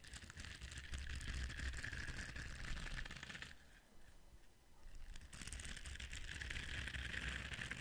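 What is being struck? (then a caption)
Silicone scrubber brush. Fingertips scratch and rub across the ridged bristles of a palm-sized, flexible orange silicone scrubber held up close to the microphone. The result is a dense, crackly scratching with a bright hiss over a low rumble. It eases into a quieter stretch midway, then resumes just as busily.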